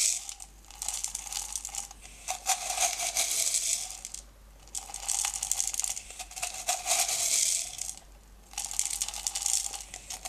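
Fingertips dig into and rub small blue-green decorative stones in an open, small, clear plastic jar partly filled with them. Bright, gritty rattling and clicking comes in sustained bursts separated by short quiet pauses, with almost no low end.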